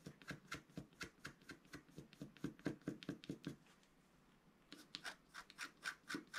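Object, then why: Wax-coated scratch-art paper scratched with a wooden stylus. A wooden stylus rubs and scratches the wax coating of a flat, roughly A4 scratch-art paper sheet in quick, repeated strokes. Each stroke gives a short, dry, papery scrape with a low-mid body and a bright, hissy edge. After a steady run of strokes there is a brief near-silent pause of about a second, then the scratching resumes.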